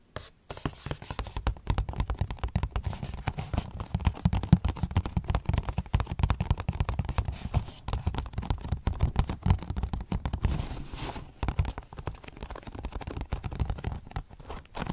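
A small, hollow, printed Nature's Bakery cardboard box is held up and tapped on its face and edges with long dark-painted nails. The result is a dense, continuous run of soft, dull taps and light scratches, mostly low in pitch.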